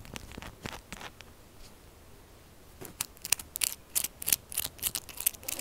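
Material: Soap.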